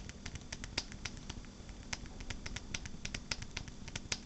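A smartphone in a purple rugged rubber and plastic case is held close in both hands while long black-painted nails tap and scratch the back of the case. Quick, sharp, bright clicks come in an irregular, rapid stream over soft scratching, with a steady low hum underneath. Each tap dies away almost instantly.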